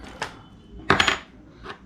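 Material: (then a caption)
Aluminium. A new aluminium vlogging cage for a GoPro, ordered as a metal case, is tapped to test whether it is really metal. Several short, bright metallic clinks ring out, with a quick cluster in the middle. The sound confirms it is metal.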